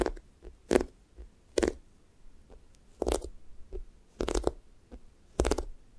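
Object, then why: Sticky foam squishy toast toy. Fingernails press into and peel off the pink sticky top of a thick, soft, solid-foam strawberry toast squishy toy, leaving dimples in the surface. Repeated short, crackly, sticky squelches rise from a muffled low thump into a brief bright peel, with quiet gaps and faint smaller ticks between them.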